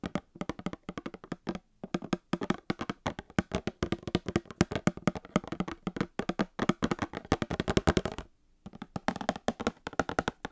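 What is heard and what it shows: Long painted fingernails rapidly tap a small, sealed, hollow Star Wars trading card box made of printed cardboard, held beside the mic. The taps are quick, dry and hollow, with a low-mid tone, almost no ring, and a brief pause just after the eight-second mark.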